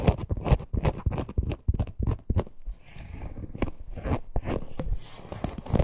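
Long nails scratch the parrot appliqué and the top piping of a small, hollow teal faux-leather purse. The result is a run of quick, dry scratching strokes with a heavy low-end thump, easing into a steadier rasp in the middle before the sharp strokes return.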